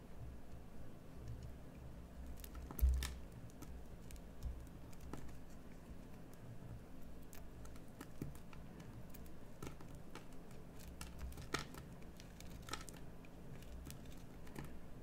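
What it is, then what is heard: Bar soap being carved. A metal carving knife scrapes a solid, partly carved green bar of soap in short cutting strokes. Faint, crisp scratches and ticks repeat over a steady low hum, with one sharper stroke standing out near the start.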